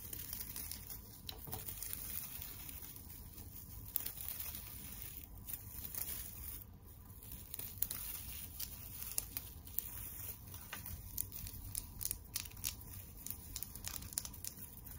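Long nails scratch and rub a flat pink and white tinsel teddy bear decoration on a wire frame with a glitter "Love" plaque. The result is a quiet, continuous crinkly rustle with a low rumbling undertone, scattered with sharp, high, brittle ticks that fade almost instantly.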